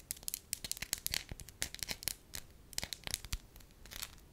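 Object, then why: Thin wax sheet. A thin, solid beige wax sheet about the size of a hand is crinkled and scratched with long lilac nails. The result is a quick series of crisp, bright crackles and scratches with almost no ring. Quieter pauses fall between the bursts.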